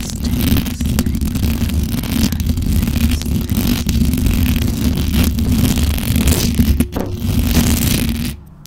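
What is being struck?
Metal mesh microphone grille.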